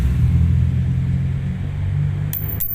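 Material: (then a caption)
Neodymium. A high-grade N52 neodymium magnet is dropped for comparison over a steady low rumble, giving three bright, high-pitched metallic rings like falling coins near the end. The clear ringing marks it as a good N52, which rings like this regardless of its size.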